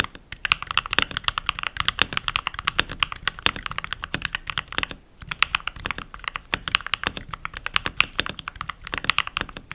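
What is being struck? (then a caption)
Mechanical keyboard with plastic keycaps. A pink backlit mechanical keyboard with solid, translucent plastic keycaps is typed on rapidly with fingertips and medium-length nails. A fast, steady stream of short, sharp, bright clicks and clacks runs throughout, with a brief pause just before the five-second mark before the typing resumes.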